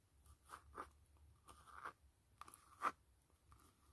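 Long acrylic fingernails tap and scratch the flat surface of a closed, hollow black textured faux-leather (PU) glasses case with a blue band, lying on a foil mat. The soft, dry taps and brief scratches are quiet and separated by short pauses. Each has a slight hollow ring around 1.2 kHz that fades almost at once.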